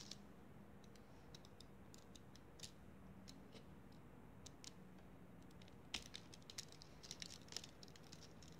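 A handful of pink kinetic sand is squeezed and crumbled between bare fingers above a foil plate, with grains falling back onto the pile. Faint, bright crackles and soft patters sit over a low steady hum. The ticks grow denser and sharper in the second half.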